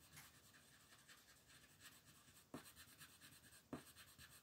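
A yellow-green wooden colored pencil shades a large paper coloring sheet lying flat on a table, with the other hand resting on the paper. The continuous strokes make a quiet, steady scratchy rubbing with a bright papery hiss. Two sharper ticks stand out near the end.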